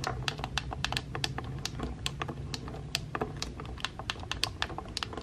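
Painted nails and fingertips repeatedly tap the buttons of a pink plastic hair straightener. Rapid, sharp, bright clicks follow one another over a steady low hum.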